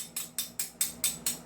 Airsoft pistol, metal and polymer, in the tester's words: Kinakalog ko pa lang, talagang lumalagitik na